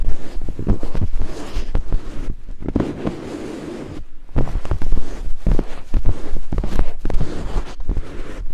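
Two thin wooden picks scrape and climb over white silicone binaural microphone ears, making dense, close rubbing and crackling scratches with heavy low-end thumps. The scraping fades to a quieter stretch midway, then returns in rapid bursts.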